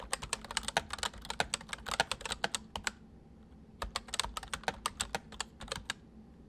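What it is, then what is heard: Plastic mechanical keyboard. Both hands type quickly on a full-size white plastic mechanical keyboard with white keycaps resting on a wooden desk, fingertips pressing and tapping the keys. About thirty sharp, bright clicks come in rapid bursts, with a short pause in the middle. Each click dies away almost instantly over a faint steady background hum.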